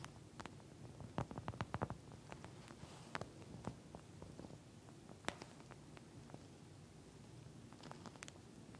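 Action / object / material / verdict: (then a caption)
scrape / gel bead eye mask with a plastic shell / plastic / none. Long nails scratch and squeeze a pink, flat eye mask made of a clear plastic shell filled with small gel beads, and the mask flexes. It makes a quiet, low, rumbling squish with scattered sharp, bright clicks and taps, bunched near the start and then spaced out.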